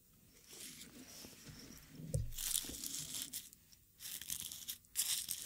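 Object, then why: Dried rose petals in a wooden mortar and pestle. A small hollow wooden mortar, partly filled with dark dried rose petals, is worked with a wooden pestle. Dry, bright crunching and crinkling comes in bursts, with a low thud near the middle and louder grinding surges toward the end.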